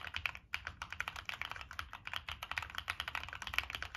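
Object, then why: Mechanical keyboard with plastic keycaps and metal case. Fingertips type steadily on a Monsgeek M1 mechanical keyboard with NK Cream switches, a dark metal case and purple and black plastic keycaps. About 28 quick, bright clacks arrive in an uneven rhythm. Each keystroke is sharp and dry, centred around 2.3 kHz, and stops almost at once with no ring.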